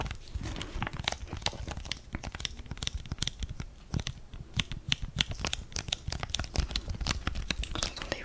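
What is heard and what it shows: Fingers crinkle and squeeze a flat blue foil-laminated sachet holding a sheet face mask close to the mic. The result is a steady stream of sharp, dry crackles and crinkles with bright high edges over a soft low rumble, each snap cutting off instantly.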